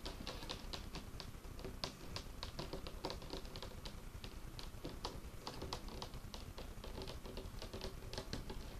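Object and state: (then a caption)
Wooden tabletop. Fingertips and nails of both hands tap fast on a large, solid, dark-stained wooden tabletop. The result is a quiet, steady stream of quick, overlapping taps, each a soft low knock with a bright clicky edge that dies away almost at once.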